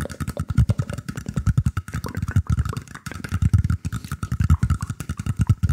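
Fingers scratch the woven surface of a round, shallow woven bamboo tray held up with both hands. The result is a dense, irregular run of quick, dry rasps with a deep, low-heavy body and a faint steady tone underneath.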